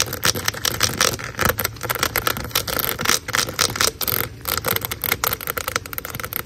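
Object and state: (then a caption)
Corrugated plastic drain hose. Long nails scratch and flick across the ridges of a large black hollow corrugated plastic drain hose. The result is a fast run of bright, rasping scrapes and short ticking flicks, with a faint steady hiss behind them that may be rain.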